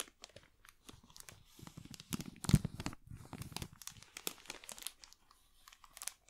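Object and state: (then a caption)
Plastic film bag crinkled over a box. A thin wooden stick scratches and pokes at a clear, crinkly plastic bag wrapped loosely over a small black box held in one hand. The result is a continuous run of soft, dense crinkling and crackling with sharp bright ticks, swelling to its loudest rustle around the middle before thinning out.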